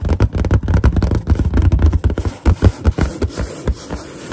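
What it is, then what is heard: Inflated latex balloon. Long nails tap and scratch a large, hollow, inflated white latex balloon with its knot visible. The result is a rapid run of dull, low, booming thumps mixed with scratchy rubbing, dense at first and then thinning into sparser taps over a softer scraping texture.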